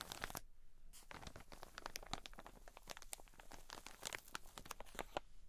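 A cotton wool pleat pack in a plastic bag, turned lengthwise, is scratched and rubbed by long nails and fingertips. The crinkly plastic over the soft cotton gives a dense run of quick, bright crackles and scratchy rustles. A short quiet gap comes near the start before the crinkling resumes and continues steadily.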